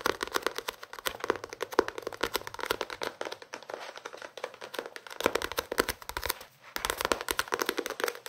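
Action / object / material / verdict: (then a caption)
tap / paperback book, paper pages and card cover / paper / none. A small paperback novel, The Notebook, with paper pages and a card cover, is held in the hands and tapped and scratched with fingertips and nails. Quick, dry papery taps and scratchy crinkles come in dense bursts. There is a brief pause near the middle and a short gap just before the end.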